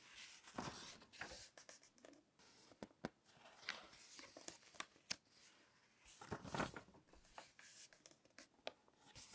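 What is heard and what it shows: Fingertips grip and flip the pages of an open, thin glossy paper magazine lying flat on a table. The sheets rub and rustle in soft, bright swishes, broken by short, crisp snaps as pages turn. The sound stays quiet throughout.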